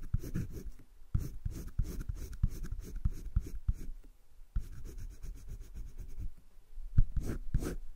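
A green wooden colored pencil scratches and rubs across a flat spiral-bound sketchbook page, shading the left side of a drawn heart. Quick, dry strokes repeat in short bursts, with brief pauses between them and a soft, papery low rasp throughout.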